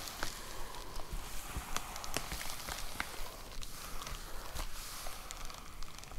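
Long nails tap rapidly on a white plastic poly mailer envelope with a box inside, making quick, light crinkly ticks. The taps come in an uneven, fast stream of short clicks over a soft rustling background.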